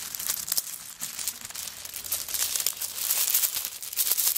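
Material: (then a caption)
Coconut shell. A handbag covered in coconut shell chips is lifted and shaken so the chips rattle, with some fingernail scratching across its surface. The sound is a dense stream of short, dry, bright clicks and crinkly rattles, almost entirely high-pitched with no low end, growing busier and louder toward the end.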